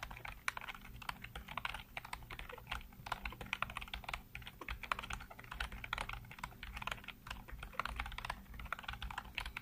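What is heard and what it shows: Fingertips type rapidly across a full-size black plastic computer keyboard with hollow keycaps, producing a dense, continuous stream of short, sharp clicks and clacks centered around 1 kHz with bright edges. A steady low hum sits underneath throughout.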